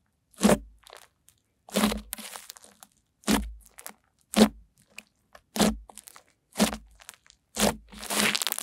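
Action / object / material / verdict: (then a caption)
scrape / fluffy slime / slime / none. Pink fluffy slime is pressed with fingertips and long nails, then stretched wide between both hands. It gives seven short, crunchy, crackling bursts separated by quiet pauses, the last one a longer, brighter crackle as the slime is pulled apart.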